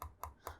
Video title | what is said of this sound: Nampak Sama,2 Dimensi Berbeza! Review Cooler Master MH630 dan MH650 | Solid juga bila kita ketuk